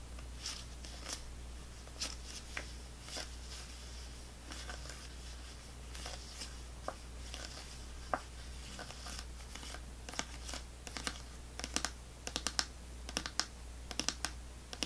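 A small clear plastic snack cup full of orange fruit pieces is held upside down while long fingernails tap and scratch its bottom. Quick, bright plastic clicks and ticks land irregularly and die away almost instantly, with soft scratching in between. A steady low hum runs underneath throughout.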